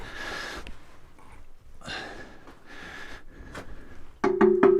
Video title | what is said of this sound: Barrels Filled With So Much Death And Rot They Set Off My Air Monitor | one sounds like it's empty